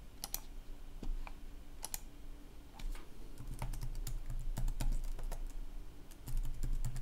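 Fingertips type continuously on a red-backlit plastic laptop keyboard, producing an irregular stream of short, bright key clicks. A steady low hum sits underneath throughout.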